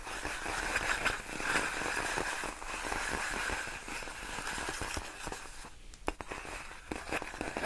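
Long nails scratch and tap a large, clear, inflated plastic air-column cushion wrap made of hollow air-filled tubes. The result is a steady, dense crinkling and crackling texture, broken by short, sharp taps that stand out near the end.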